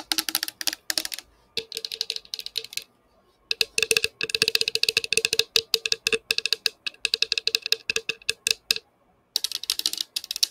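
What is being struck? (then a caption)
Plastic drinking tumbler. Long painted fingernails rapidly tap and scratch a hollow, colorful patterned plastic drinking tumbler (Igloo-style), about 20 cm tall, held up in both hands, empty or nearly empty and tilted toward the microphone. Quick bursts of dry, bright clicking run like fast typing, with a faint hollow tone underneath, broken by a few short pauses. Each tap dies away almost instantly.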